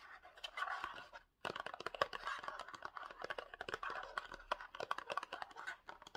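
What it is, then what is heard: Cardboard box scratched and tapped. A small rectangular gold-printed cardboard box for Pantene hair spray, with the bottle likely inside, is scratched and tapped with short nails. Dry scratching and many quick, crisp taps sound in the midrange, with a brief silent gap near the start.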